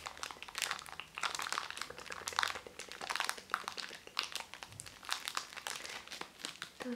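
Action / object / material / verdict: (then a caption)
scrape / makeup sponge in cellophane wrapper / cellophane / none. A small round white makeup sponge in crinkly cellophane wrapping is held close and its wrapper is rubbed and squeezed with the fingertips. The result is a continuous bright, dense crinkling with many quick crackles rising and falling over seven seconds.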